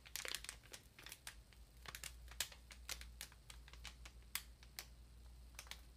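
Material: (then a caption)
Plastic film. Long nails tap and scratch the plastic wrap on top of a large, solid ream of paper. The result is a quiet run of sharp, bright crinkling clicks and scratchy rustles over a steady low hum.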